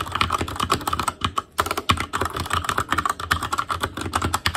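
Fingertips type rapidly on an Asus Claymore Core mechanical keyboard with plastic keycaps and Cherry MX Red switches. Quick, clacky keystrokes with a mid-pitched ring and a low thock run in a steady stream, with one brief pause partway through.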